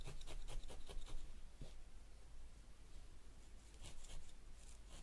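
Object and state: Wool felt on foam pad.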